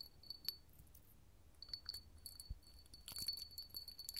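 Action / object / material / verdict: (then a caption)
tap / hobnail glass candle holder / glass / none. A small clear hollow hobnail glass candle holder, held in the hand, is tapped with long gold metal finger claws. Quick, bright clinks ring out in loose clusters, with a sustained high glassy tone. The taps come thickest near the end.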